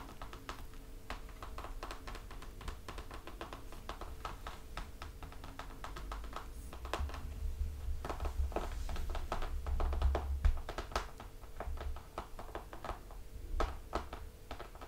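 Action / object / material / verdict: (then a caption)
tap / hardcover book with laminated cardboard cover / cardboard / none. Fingertips of both hands tap rapidly across the front of a closed hardcover picture book lying flat, its solid laminated cardboard cover giving short, dry clicks that die away almost instantly. The taps come in quick, uneven bursts, growing louder in the middle, over a steady low hum.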